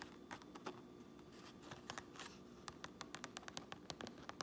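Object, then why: Fabric trucker cap. Long nails scratch and tap on a fabric trucker cap, first across its grey inner lining and white tape, then on the red stitched brim outside. Soft, brushy scratching gives way to a quick run of crisp, dry taps with bright clicky tops and almost no ring, over a faint steady hum.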